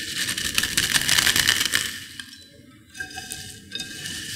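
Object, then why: Potato chip pieces in a bowl. Fingers with long nails pinch and crush finely crushed potato chip pieces in a white bowl, making a dense, bright crackling with rapid crisp snaps. The crunching is loudest through the first two seconds, then fades to quieter, scattered crackles and light rustling.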